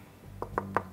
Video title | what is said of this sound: What Guitar Should I Buy? (Beginner's Guide) | even just knocking on the guitar you can hear that